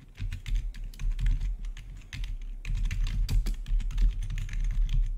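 Fingertips of both hands rapidly type on a full-size black plastic RGB backlit gaming keyboard with a hollow housing, recorded close-up. A steady stream of short, quick-decaying clacks mixes bright click edges with hollow, low thuds over a constant low rumble.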